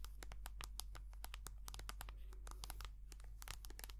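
Long painted nails tap and scratch rapidly on a small, hollow, white soft plastic squeeze tube filled with hand cream. Quiet, crisp, bright clicks and scratchy crinkles come in a quick, busy stream over a steady low hum.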